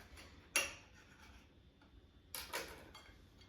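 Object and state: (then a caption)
Crispy toasted sandwich bread. A knife cuts through an air-fried grilled ham and cheese sandwich, giving a sharp, bright crunch from the toasted bread, then, after a quiet pause, a quick pair of crackly crunches. The crackle is high and brittle with little low end, and the bread proves super crispy.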